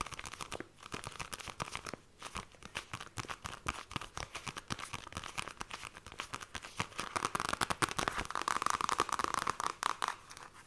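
A paperback copy of The Fairy Bears with a glossy card cover is held in both hands while long nails tap and scratch across the cover. Fast, dense clicking taps mix with dry, crinkly scratching. Toward the end the scratching grows louder and brighter into a steady rasp.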